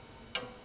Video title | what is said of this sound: Restoring abandoned Bianchi! Vintage bike rebuild transformation… | that bolt was kissing the chain stay scratching it quite nastily causing that tapping sound